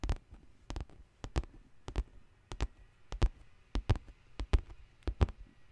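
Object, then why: Faux leather handbag side panel. Long green nails tap and scratch the side panel of a large black pebbled faux leather handbag with metal rings on the handles. About sixteen short, dull taps land mostly in pairs at an uneven pace, deep and soft, with faint bright scratchy edges. Each tap dies away almost instantly over a quiet background.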